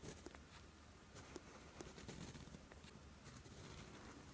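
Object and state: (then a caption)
Pen nib scratching on lined paper. A steel fountain pen nib scratches across a flat sheet of lined writing paper in writing strokes. Soft, bright, papery scratches come in short bursts with brief pauses, over a low, quiet background hum.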